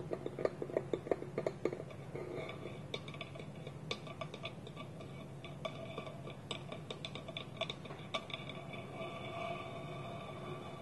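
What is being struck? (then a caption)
Small polished wooden bowl with wooden lid. Fingertips and nails tap and scratch a small, round, hollow, polished wooden bowl, empty and resting on a table, with its wooden lid held tilted against it. Sharp, hollow taps with a woody tone near 500 Hz come quickly and loudest in the first two seconds. They give way to softer, steady scratching and scattered lighter taps over a faint hiss.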